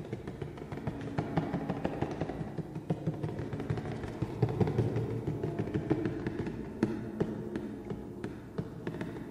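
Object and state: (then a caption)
Cardboard shoe box. Fingertips and nails tap and scratch the flat grey side panel of a large, hollow, black printed cardboard shoe box held upright. Quick, dull, low taps with very short ring come in a steady rapid stream over a soft scratchy rustle.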